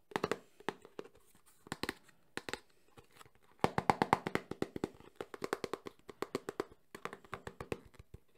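Fingertips and short nails tap quickly on the glossy front face of a small, closed, printed cardboard Samsung phone box held in the hands. The taps come in rapid bursts separated by brief pauses. They are dry, clicky hits with a hollow mid-range tone and almost no ring.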